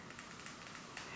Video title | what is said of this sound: Tarte Mini Haul - Reviews + GRWM | you can hear it almost sounds like glass but it really feels and looks like plastic when you inspect it really closely